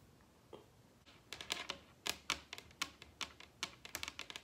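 Long red acrylic nails tap the surface of a large solid wooden dining tabletop with both hands. Sharp, bright clicks come in quick irregular bursts over a quiet background, each dying away almost instantly with little low end.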